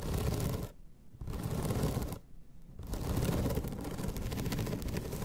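Long red nails scratch across the ribbed surface of a flat bamboo slat placemat, making a dense, low, rasping scrape with a grainy texture. The scratching pauses twice briefly, then resumes and continues steadily to the end.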